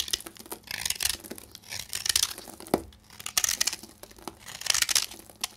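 A metal knife blade scrapes and cuts into a solid, dry pink bar of soap with a carved, hollowed face, held in the hand, shaving off powdery flakes. The sound is a series of bright, dry, crackling scrapes in uneven bursts, with a few sharper clicks and almost no low end.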